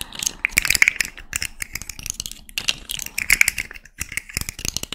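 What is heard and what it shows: A small rainbow plastic fidget slug with hollow, jointed segments dangles from one hand while long nails scratch and flick it. The segments rattle and click in quick, bright, dry bursts that come in two clusters, with sharp high clicks and almost no low end.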